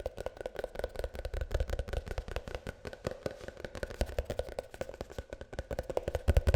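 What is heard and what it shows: Rapid, uneven tapping on a plastic shampoo tube, heard as a dense run of short, dull, low thuds with a faint resonance near 500 Hz. The taps are too closely spaced to count separately.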